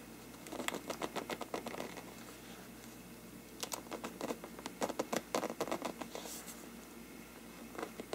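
Fingertips scratch and tap the paper of a large, hollow, empty bell-shaped lampshade made of mottled faux-parchment paper, held at its lower rim with both hands. Quick, dry papery taps and scratches come in two clustered bursts with a quiet pause between, then a final tap near the end. Each tap has a brief, slightly hollow tone around 500 Hz that dies away almost at once.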